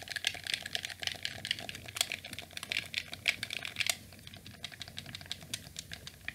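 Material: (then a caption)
Plastic. A black, hollow plastic PlayStation 2 controller is held in both hands while fingertips press and click its shoulder and face buttons. The result is a rapid, irregular run of short, sharp, bright plastic clicks that each stop almost instantly, busier and louder over the first four seconds and then softer and sparser.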